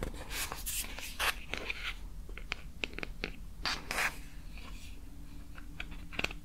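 Long painted nails scratch and tap over the surface of a small glowing pink bear-shaped silicone night light with a hollow lamp shell, held in the hand. Bright, scratchy rubbing strokes mix with sharp, dry taps that stop almost instantly, over a steady low hum.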